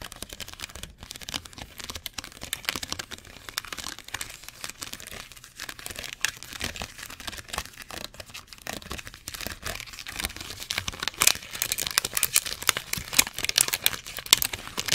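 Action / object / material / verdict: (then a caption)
scrape / thin molded plastic cookie tray piece / plastic / none. A small torn section of a thin, clear, molded plastic cookie tray, empty, is squeezed and crinkled between the fingers close to the mic. It makes a dense, continuous stream of sharp, bright crackles and snaps with almost no low end. The crinkling grows louder and busier in the last few seconds.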